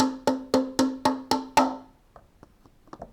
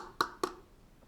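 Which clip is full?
The second.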